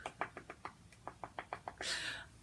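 Knuckles knock on a real wood furniture piece, set apart from the fake wood around it, as a "knock on wood" for not having a headache yet. Ten short, dry, mid-pitched raps come in two quick runs of five with almost no ring, followed by a brief bright rushing hiss at the end.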